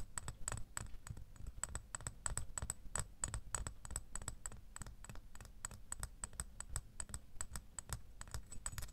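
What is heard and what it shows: A small, solid metal door key lying in an open palm is tapped with fingernails in a quick, steady run. Each tap is a short, dull click with a soft low thump and a faint bright metallic tick that dies away almost at once.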